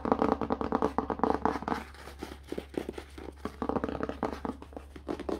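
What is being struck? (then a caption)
Hardcover book cover with paper endpaper over cardboard. Fingertips tap and rub the red paper endpaper glued over the cardboard inside cover of an opened hardcover book. Quick bursts of dull, papery taps with scratchy rubbing come in two dense runs, separated by a sparser stretch of softer taps and rustling.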